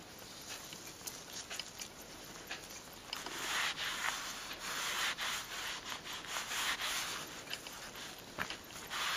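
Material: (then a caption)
Leather. A soft, thin green leather glove lies flat on a purple towel and is wiped with a white cloth and smoothed by blue latex-gloved fingertips. The result is a steady, bright, scratchy rubbing and swishing with little low end, growing louder and denser after the first few seconds, with occasional sharper scuffs.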